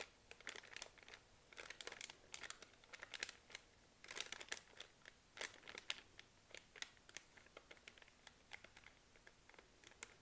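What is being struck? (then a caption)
Soft plastic film wipes package. Long nails tap and scratch a full, soft plastic-film pack of baby wipes lying on a laptop, while fingers crinkle the package. The result is a quiet, dense run of sharp, bright crinkles and clicks with almost no low end, each dying away almost instantly.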